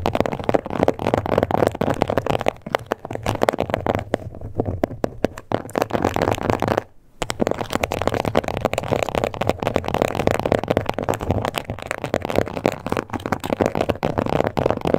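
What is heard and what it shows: Long acrylic nail tips scratch and tap across a small, flat, glossy pink crocodile-embossed faux leather card holder. The result is a dense, crackly stream of dry scratches and quick taps, centered in the mid range with little high end. There is one brief silent pause near the middle.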